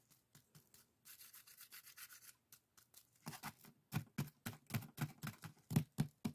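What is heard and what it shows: Fingertips and nails rub and scratch the colored weave of a small, hollow, empty pair of woven split-bamboo bokjori strainers. Light, dry, bright scratches give way to a steady raspy rub, then to louder, rhythmic scratching strokes with a soft hollow low thump beneath each one.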